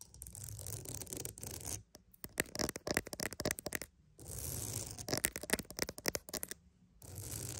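A wooden mat is alternately scratched and tapped in an ASMR build-up. Stretches of dense, bright scraping alternate with runs of quick, dry taps that stop sharply with no ring, ending in a return to scratching.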